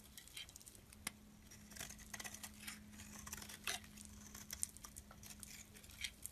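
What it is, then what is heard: Bar soap being scraped. A metal utility blade scrapes flakes off a solid, pale lilac, faceted bar of soap held in the palm. Quiet, bright, crisp scraping and crackling comes in a rapid string of short ticks and brief rasps, over a faint steady low hum.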